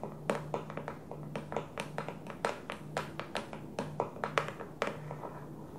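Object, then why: Clear plastic food container. An empty clear plastic food storage container sits upside down on its blue lid and is tapped with long nails and fingertips. The result is a quick, irregular run of short, hollow clicks and taps, some sharper and brighter than others, each dying away almost at once over a faint low hum.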